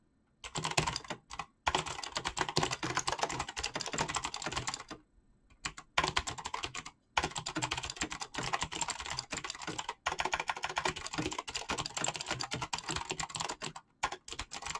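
Fingertips type rapidly on a full-size backlit mechanical keyboard with PBT plastic keycaps, making dense bursts of bright, crisp clacks centered around 1 kHz. Short pauses break the flow near 1.5, 5, 7, 10 and 14 seconds. Each keystroke dies away quickly, with little low-end thump.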